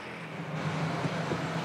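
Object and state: Nothing is struck.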